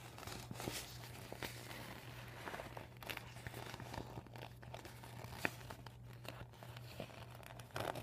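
Fingers crinkle and nails scratch a bunched, empty, deflated PVC vinyl beach ball with blue, white and red panels resting on a table. Soft, dense crinkling and scratchy rustles run throughout, with a steady low hum underneath and a few sharper crackles.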